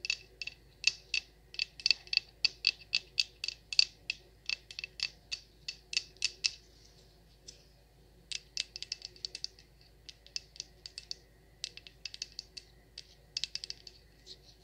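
Long acrylic nails tap and scratch the surface of a large solid yellow-orange wax pillar candle with a cord and tag. Quick, irregular bursts of sharp, bright clicks with almost no ring come in flurries, with a brief lull near the middle before the tapping resumes.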